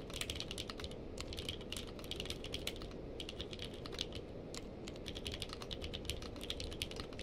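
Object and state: Mechanical keyboard with plastic keycaps.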